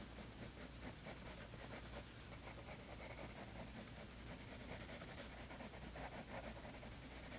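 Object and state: Pencil shading on a paper sketchbook page.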